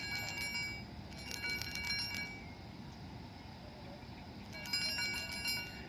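A hollow black 8-ball keychain chiming ball, made of metal and 25 mm in diameter, is shaken in bursts. It gives off bright, high bell-like jingling tones that ring briefly over a steady low background hiss.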